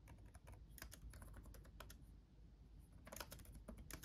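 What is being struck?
Plastic laptop keyboard.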